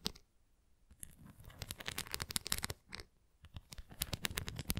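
Long nails scratch across the nubbed surface of a red plastic flying ring toy held upright. They make rapid bursts of crisp, bright, clicking scratches, broken by brief quiet pauses.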